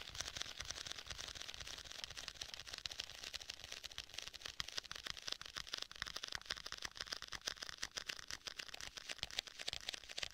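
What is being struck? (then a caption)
Faux leather folio tablet case. Fingertips tap on the front and edges of a rigid black faux leather folio tablet case. The result is a steady stream of quick, dry, clicky taps, bright and crisp with very little low end. Each tap stops almost instantly.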